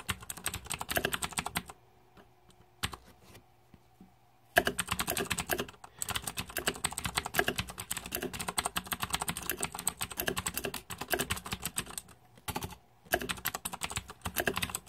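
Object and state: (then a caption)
Plastic mechanical keyboard. Fingertips type continuously on the plastic keycaps of a green-backlit Razer 2014 Deathadder mechanical keyboard, producing rapid, bright clacks with very short decay. The typing stops for brief pauses near two and four seconds and again just before thirteen seconds, leaving a faint low hum.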